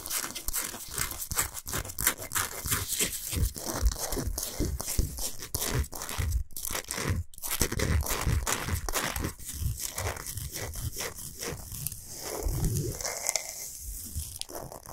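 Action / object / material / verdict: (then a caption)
scrape / salt block / rock salt / none. Long pointed nails scratch fast across the surface of a large, flat, solid pink Himalayan salt block. The result is a dense, rapid run of gritty, crunchy scraping with bright hiss and low thuds from the contact, steady throughout with brief pauses.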